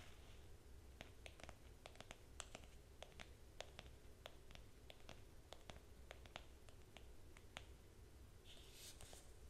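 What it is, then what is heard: Cloth-covered hardcover notebook tapped and scratched. A green cloth-covered hardcover notebook is held upright while fingernails tap and scratch its cover. Quiet, sharp, bright clicks come at an irregular pace over a steady low hum, and a brief airy scratching swells near the end.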